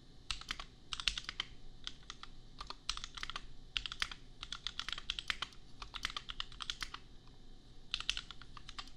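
Fingertips type on a $250 custom compact mechanical keyboard with Gateron Milky Yellow switches and red and pink plastic keycaps. Rapid bursts of short, sharp, bright clicks and clacks centered around 3 kHz come in quick flurries separated by brief pauses over a quiet low background.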